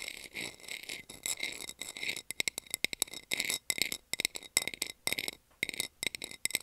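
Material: Plastic.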